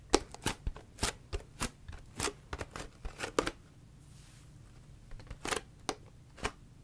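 Long fingernails tap and scratch a large, clear, seemingly empty PET Ito En tea bottle with a green paper-like label. Sharp, crisp plastic clicks and brief scratches come in uneven bursts, with a quiet pause near the middle before a few more taps at the end.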